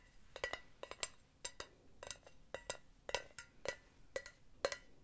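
Long nails tap the solid metal base of an empty, hollow silver mesh pen holder with felt pads, in quick irregular clusters. Each tap is a short, bright clink with a faint ring around 560 Hz that dies away almost at once.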